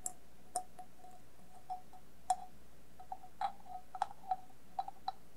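An upside-down hollow stainless steel bowl, covered with colored tape, glitter tape and sequins, is tapped with long nails and fingertips. About 13 light, irregularly spaced taps each give a short, dull metallic ping around 740 Hz that fades almost at once against a quiet low hum.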